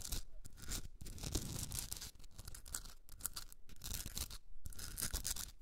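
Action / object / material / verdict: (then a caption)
scrape / rock salt candle holder / rock salt / none. Long red nails scratch the top rim and sides of a hand-sized pink Himalayan salt rock candle holder with a hollowed top. The clip is a steady run of dry, rasping scrapes with bright gritty hiss, a low rumbling body underneath, and brief quiet gaps between strokes.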